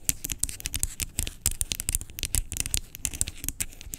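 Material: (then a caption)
Plastic. Long pink acrylic nails tap and scratch the label and body of a large, hollow, blue-labelled plastic skincare pump bottle lying on its side. Quick, dense clicks with bright, crisp tips and a hollow low thump underneath run without pause, each one dying out almost instantly.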